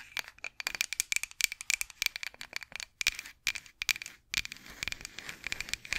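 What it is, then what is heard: Wooden rolling pin tapped and scratched. Long acrylic nails tap and scratch a solid, long light-wood rolling pin with handles, held horizontally in front of the microphone. About 35 quick, dry, bright clicks come in uneven bursts, with a faint ringing tone near 2.3 kHz, almost no low end, and softer scratchy rustling between the taps.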